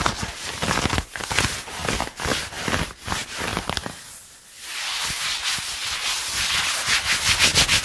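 A hand and fingernails scratch and rub worn blue denim jeans around a seated person's raised knee, the soft fabric over the leg, close to the microphone. The sound is a run of bright, hissy scraping strokes with irregular rhythm, easing briefly into a softer rub near the middle before quick, sharp scratches pick up again.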